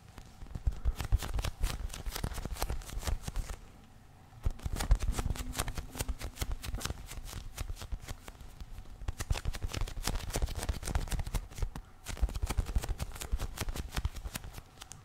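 A small, soft, solid polyurethane foam squishy toy shaped like a unicorn with a colored mane is held in both hands near the microphone and scratched, tapped with fingertips and fingernails, and squeezed. Dense, rapid, dry scratching and tapping sounds run with a heavy low, muffled thump, pausing briefly near 4 seconds and again around 12 seconds.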